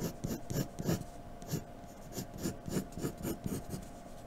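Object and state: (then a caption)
Pencil shading on drawing paper. A graphite pencil in a blue holder scratches shading strokes across a sheet of flat white drawing paper resting on a dark table. It makes a quiet, rasping, back-and-forth scratch of about eight short strokes at an uneven pace, with a low, soft body under faint bright scrapes. A steady faint hum runs underneath.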